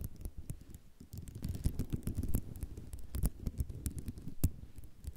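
A flat sheet of small white square ceramic mosaic tiles lying on black cloth is tapped and scratched with long rhinestone-decorated nails. Dense, rapid clicks and light rattles come through, with brief bright ticks over a low, soft thud that carries most of the energy. Each click dies away almost instantly, with no lingering ring.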